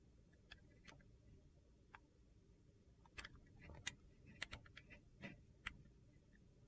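A metal utility knife blade shaves brittle slivers off a solid, translucent glycerin soap bar with purple and teal pieces, held in the hand. The result is a series of short, sharp, bright crunchy clicks and scrapes, spaced irregularly over a quiet, low background rumble.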